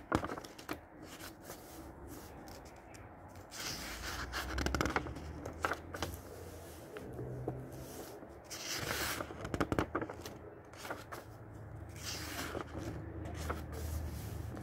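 Fingertips grab and flip the yellowed paper pages of an old book from 1948, one after another. The pages swish and rustle with bright, crackly edges over a low background rumble.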